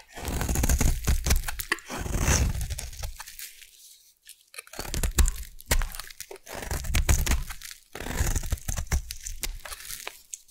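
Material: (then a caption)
Soap. A metal blade carves a solid pink bar of soap into shavings, producing dense, crunchy scraping and crackling with a deep, heavy low end and a bright, gritty edge. The carving comes in three long passes separated by brief quiet gaps.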